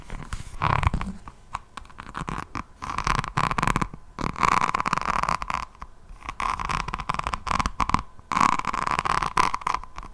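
Long nails of both hands scratch the beaded resin cover of a resin rhinestone diamond painting notebook held close to the microphone. Dense bursts of gritty crackling and sharp clicks come and go over the clip, with a steady mid-pitched tone around 1 kHz running underneath.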